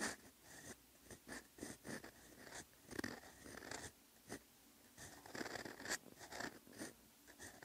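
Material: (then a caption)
Paper. A steel extra-fine fountain pen nib scratches across a flat, lined paper notebook page while handwriting Korean characters. The quiet, bright, dry scratching comes in a rapid series of short strokes and pauses, with a steady rasp around 2 kHz.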